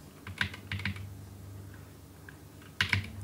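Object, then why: Plastic computer keyboard. Fingertips of both hands type a fast series of key taps on the plastic keycaps of a black, roughly full-size plastic computer keyboard with a hollow housing, sitting on a wooden desk. Bright, short clicks come in two bursts, early and again near the end, with a quiet gap between them. A steady low hum runs underneath throughout.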